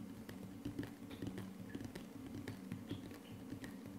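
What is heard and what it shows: Fingertips and short nails of both hands tap rapidly on a flat, solid wood-look laminate tabletop. It makes a quick, uneven run of soft, dull knocks with a low-mid body and short clicky tops. Each tap dies away almost at once, over a quiet, steady low hum.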